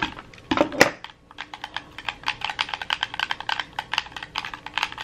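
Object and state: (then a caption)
Plastic game controller buttons. A red hollow plastic gamepad is held in both hands while fingertips and thumbs rapidly press its buttons and sticks. A few louder clicks open the clip, then after a brief pause come about thirty quick, dry, bright button taps in a steady, uneven stream with no ringing after each one.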